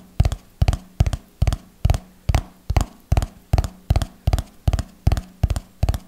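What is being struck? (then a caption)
Hardcover notebook, cardboard cover. A red hardcover notebook held in both hands is tapped with fingernails on its cover and spine. Short, dry, deep taps fall in a slow, steady rhythm, some landing as quick doubles, and each dies away almost at once.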